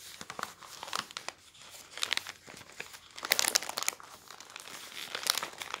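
A thin newsprint newspaper sheet spread on a wooden table is lifted by fingertips, then crumpled and crinkled so the paper rubs against itself. Dense, bright crackling rustles come in uneven bursts with almost no low end. The loudest crunching flurries arrive around the middle and near the end.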